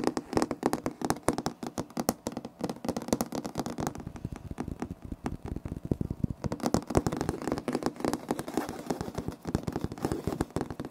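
Both hands scratch a solid, light wood-grain laminate floor with short nails and fingertips. The result is a dense, steady run of quick, dry scratches and ticks with a mid-low body and little brightness, easing slightly in the middle before picking back up.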